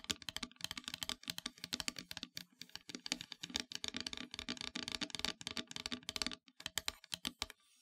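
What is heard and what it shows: Long nails tap rapidly on the surface of a solid, flat, black-painted wooden heart plaque. The result is a quick run of dry, bright clicks with almost no ring, briefly pausing before the last few taps.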